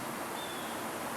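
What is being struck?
Nothing is struck.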